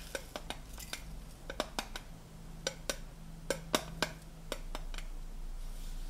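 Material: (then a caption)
Tinplate. Fingernails and fingertips tap the flat gold metal lid of a hollow blue tinplate tea canister, producing a series of quick, bright metallic ticks with a short ring around 600 Hz. A steady low hum sits underneath, and a soft hiss grows louder toward the end.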